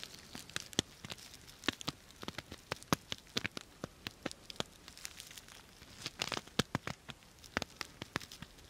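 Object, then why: Fabric pouch covered in plastic sequins. Long nails scratch and rub the plastic sequins of a purple sequin-covered fabric bag held close to the mic. A quick, irregular run of sharp, dry clicks and rustles stands out, bright and crackly, over a faint steady hiss. Each tick dies away almost instantly.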